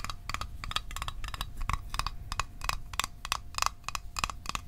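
Fingernails tap the lid of a small, hollow, closed blue Altoids metal tin held in the hands. The quick, irregular clicks each give a short, bright metallic ping near 1.1 kHz that dies away almost at once, over a low, steady background rumble.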